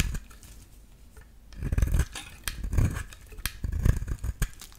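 A metal utility-knife blade shaves a solid yellow bar of soap into thin flakes, making soft, dry, rasping strokes that swell and fade in a few bursts. Brief sharp clicks and low muffled bumps come between the strokes.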